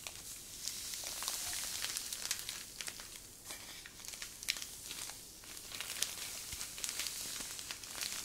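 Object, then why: Plastic zip-lock bag filled with fine sand. A medium clear plastic zip-lock bag full of fine white sand is held in both hands and squeezed and crinkled with long nails and fingertips. The result is a steady, bright, high crinkling hiss with scattered sharp clicks and almost no low end, swelling and easing slightly throughout.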